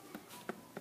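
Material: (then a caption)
Ice. A plastic ice pack, after sitting in hot water for five minutes, is shaken, and three short knocks are heard as the frozen ice shifts loose inside. The ice has not melted; the plastic expanded in the hot water and released it.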